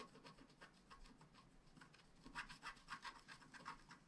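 A wooden stylus scratches the mane area of a flat black scratch art card made of wax-coated paper, producing soft, quick, irregular scraping strokes. The strokes stay faint at first, then grow into louder, brighter rasping bursts toward the end.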